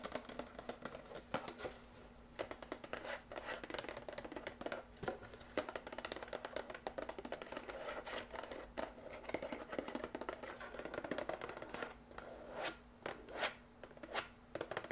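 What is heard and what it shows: A small brown cardboard box with a round sticker, hollow and apparently empty, is held in the hands and tapped and scratched with long acrylic nails. Quick, dry taps and rough scratching strokes run in a near-continuous stream with brief, sharper clicks standing out. The sound is light and papery with a faint steady hum beneath.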